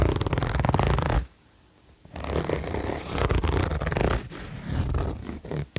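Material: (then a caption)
Nylon. Fingertips pull the zipper and rub the smooth fabric of a beige quilted nylon vest lying flat. A dense, low, rasping zipper burr is followed by a short pause, then a longer stretch of uneven scratchy rubbing and soft zipper clicks.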